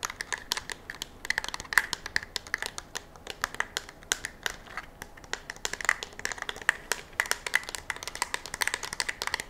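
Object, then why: Polymer rifle magazine. A black, hollow, curved polymer rifle magazine is held in one hand near the microphone and tapped and scratched with long fingernails. It gives a steady stream of quick, dry, bright clicks and light scratches that die away almost at once, with a hollow plastic tone around 2 kHz and almost no low end.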